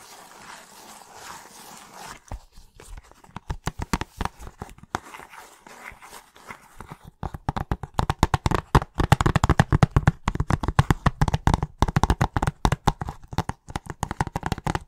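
A hollow, thin plastic DVD-style video game case with a green printed cover insert is held in the hands while fingertips and nails tap and scratch its cover. The first two seconds carry a soft, steady scratching hiss. Dense, quick, dry tapping clicks with a hollow low body follow, growing louder and busier after about seven seconds.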